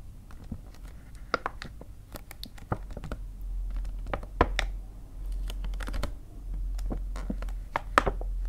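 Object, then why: Paper gift bag. Fingers with painted nails tap on the front of an empty-looking white paper See's Candies gift bag held upright on a table. A quick, irregular series of light, dry, hollow papery taps and soft crinkles is heard, each dying away almost instantly. A steady low hum runs underneath.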